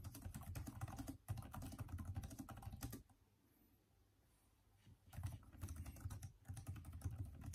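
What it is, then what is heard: Plastic laptop keyboard being typed on. A backlit Microsoft Surface tablet keyboard with plastic keys is steadily typed on with the fingertips of both hands, giving a dense run of quick, soft, low-thudding key clicks. The typing stops for about two seconds of near silence, then resumes at the same brisk pace.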